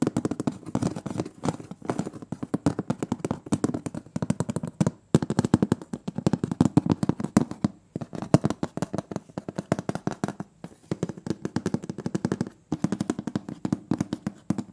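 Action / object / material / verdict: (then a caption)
tap / round metal cookie tin lid / tin-plated steel / none. Fingernails tap rapidly and lightly scratch on the printed metal lid of a large, round, closed butter cookie tin. The dense, dry clicks have a hollow low-mid body and very little ring. Bursts of tapping are broken by brief pauses around 5, 8, 10.5 and 12.5 seconds.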